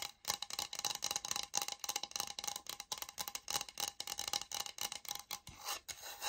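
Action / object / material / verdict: scrape / oak-look laminate flooring sample / laminate / none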